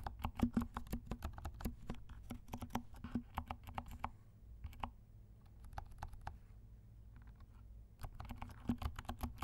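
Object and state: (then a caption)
Plastic mechanical keyboard being typed on. Fingertips of both hands type on a compact black mechanical keyboard with silent switches and black and pink plastic keycaps. Short, muted clacks with a low thump come in quick runs, slow to sparser, softer taps in the middle, then pick up speed again.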